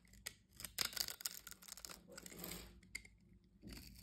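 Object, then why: Bar of soap. A box-cutter blade slices scored cubes off a solid blue soap bar held in the hand. Quiet, crisp crunching and crackling clicks come in quick bursts, mostly bright and high with little low end. The clicks have almost no ring and stop dead between cuts.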